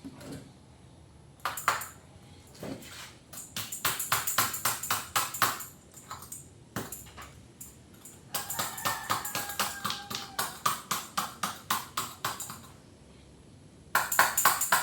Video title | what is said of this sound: How To Bend a Custom Motorcycle Frame Hoop( The Sand Trick) | it sounds dull as well, it's not ringing, which is a good sign. Because if it's dull, it means it's full.